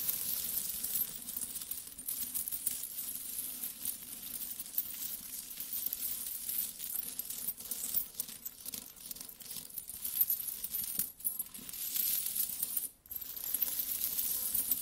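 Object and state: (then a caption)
Pile of metal coins. Flat hands and fingertips sweep and rummage through a large pile of mixed small solid metal coins on a carpet, so the coins clink together. A dense, continuous stream of bright, high metallic clinks and rustling runs steadily throughout, with a brief lull just before the end.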